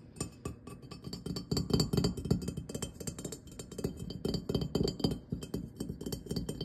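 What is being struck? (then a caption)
Glazed ceramic pumpkin lantern. Fingertips and nails tap rapidly on the ribbed glazed surface of a medium-sized hollow ceramic jack-o'-lantern pumpkin, orange with a white top and dark stem, carved face openings and a light inside. The taps are quick, short clicks and clinks with a low hollow body around 180 Hz and bright glassy ticks above, each dying away almost instantly in a dense, uneven rhythm.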